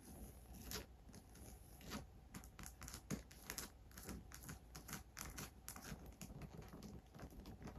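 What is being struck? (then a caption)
Coated canvas and leather handbag. Long grey acrylic nails tap and scratch the top brown leather trim and body of a medium Michael Kors monogram handbag made of coated canvas with brown leather handles, hollow and partly filled. Quiet, dense, crinkly scratching runs throughout, broken by short, bright tapping clicks over a faint low rumble.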